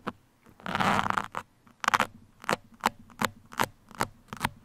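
The tips of two metal sewing pins, held in the fingertips, scratch across a black open-cell foam windscreen that sits soft and hollow over a microphone capsule. A longer, dense crackling scrape early on gives way to a run of short, separate scratchy strokes, each a brief, bright, papery rasp centered around the midrange with almost no low end.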